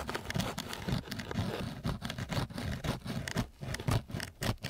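A flat wooden stick is rubbed back and forth across a flat, gritty sheet of coarse sandpaper. Each stroke gives a rough, scratchy rasp that swells and fades, with a low, heavy body and a dry hiss on top. The strokes repeat at a brisk but uneven pace.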